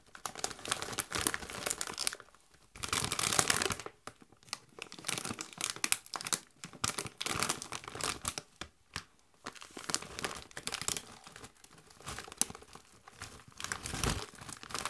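A Doritos chip bag of metallized plastic, partly full of chips, is held up and crinkled by gloved hands. The result is a steady run of bright, dense crinkling and crackling, with a louder, rougher burst of rustling around the third second.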